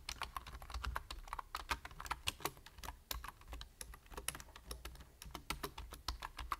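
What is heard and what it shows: Fingertips type steadily on a full-size black plastic computer keyboard with a hollow body and plastic keys, producing quick, dry key taps that stop almost instantly. The taps come in an uneven rapid stream with some louder clacks, over a constant low hum.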